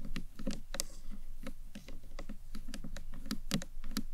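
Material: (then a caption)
Acrylic. Long nails tap and knock on the top and upper face of a small, hollow green marbled acrylic box clutch purse. The result is a quick run of light, clicky taps with short hollow knocks, low in body with bright tips and almost no ring.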